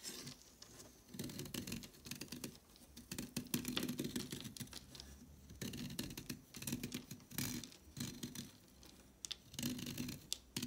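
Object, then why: Chalk stick scraped with a blade. A solid, thick orange chalk stick held in the hand is shaved and scraped with a red-handled craft blade, and the flakes fall onto a marble surface. Bursts of dry, gritty scraping repeat in rough strokes, with bright crackly edges over a low rasping body and short quiet gaps between passes.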